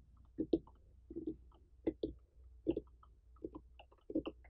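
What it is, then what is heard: Whole pumpkin. Long painted fingernails and fingertips of both hands tap and scratch the ribbed rind of a large, whole, uncut orange pumpkin with a dry stem, its rind intact and not hollowed. Short, dull, hollow knocks around 330 Hz come in quick pairs at an uneven pace, with faint scratchy fingernail ticks between them. Each knock dies away almost at once in a quiet, close setting.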